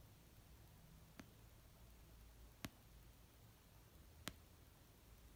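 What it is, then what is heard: Paperback book. An orange paperback novel of solid paper, resting on a blanket, is tapped slowly with fingertips and nails, with some light scratching. Three short, sharp, bright taps stand out, spaced well apart over a quiet, low, steady background.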